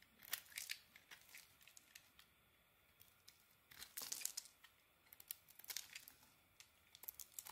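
A small metal blade scrapes the remaining dark coating off a white bar of soap. Quiet, dry, bright scratching comes in short bursts and crackles, with busier clusters near the start, middle and end.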